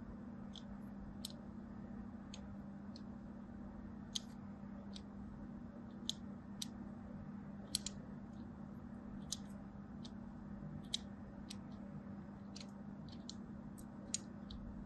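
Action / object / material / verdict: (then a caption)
scrape / bar of soap cut with a thin blade / soap / none. A thin blade scores lines across the surface of a solid striped soap bar held in the hand. It makes short, bright, crisp clicks and scrapes, scattered unevenly over about fifteen seconds. A quiet, steady low hum continues underneath throughout.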